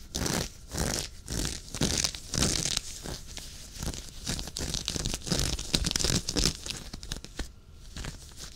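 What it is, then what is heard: Knit fabric sweater being scratched. Fingernails scratch close up at the knit fabric of a dark waffle-knit sweater worn on the chest. The result is a string of quick, rasping scratch bursts with a bright, crackly hiss over soft low rubbing. The strokes come at uneven pace and strength, easing off toward the end.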